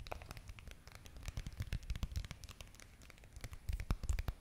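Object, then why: Foil and plastic sachet. A small red foil-and-plastic face mask sachet, held close, is scratched and tapped with long nails. The result is a dense run of quick crinkling scratches and soft taps, with low muffled thumps under bright, dry crackles that stop instantly. It gets louder near the end.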